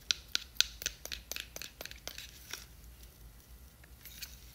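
Long nails tap and scratch a small clear square plastic jar with a white lid, filled with glitter, and the jar is turned over. Three loud, bright, sharp clicks open a quick run of crisp, high taps that thin into softer scratching and faint rustling.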